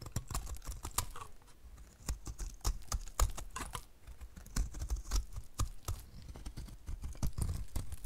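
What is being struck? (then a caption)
Bar of soap scraped with a knife blade. A utility knife blade scrapes and cuts curls off the face and edge of a solid, dry, white rectangular bar of soap held in the hand. It makes a fast, dense run of short, dry crackling clicks and scratches with a low thump beneath them and bright crisp edges.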